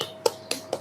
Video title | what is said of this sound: TUTORIAL MEMBUAT ECOBRICK - PMI Provinsi Bali | kalau diketuk dia enggak apa ya, enggak lembeklah dan benar-benar padat dia jadinya tidak ada bunyi botol